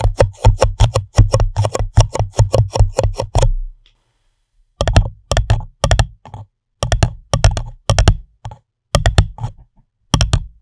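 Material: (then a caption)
Paper. Fingertips and long nails tap and scratch the bottom and sides of an empty, hollow, pink printed paper cup turned upside down over the microphone. Rapid runs of dull, low, hollow thuds sound with only a faint bright edge from the nails, each dying away almost at once. The tapping stops briefly, then returns in short bursts.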